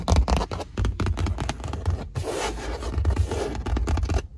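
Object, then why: Padded leather car seat. Long nails and fingertips scratch and tap quickly and aggressively on a flat black padded leather car seat panel. Dull, bass-heavy thumps mix with rapid scratchy rasps, and a steadier stretch of continuous scraping runs through the middle before the fast tapping returns.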